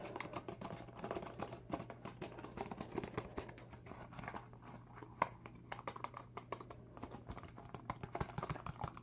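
A small, hollow rectangular cardboard UNO card box, filled with cards and held in both hands, is tapped rapidly with fingertips and nails. The result is a dense run of quick, dry, muffled clicks over a steady low hum.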